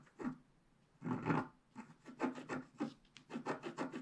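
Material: Coated paper.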